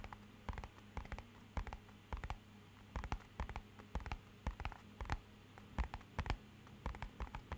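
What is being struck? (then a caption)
Small paperboard box. A small, rigid, hollow, matte-black rectangular paperboard box is held tilted and tapped with fingernails. Quick, dry clicking taps come in irregular clusters, each dying away almost instantly with a soft, hollow low thud. A faint steady low hum runs underneath the whole time.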